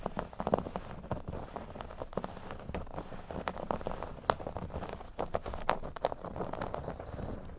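Short fingernails on both hands quickly scratch the surface of a large, flat, solid cork board shaped like a speech bubble. The result is a dense, continuous, dry scratching and crackling, dotted with sharp little ticks, mostly dull and low-to-mid in tone with little brightness.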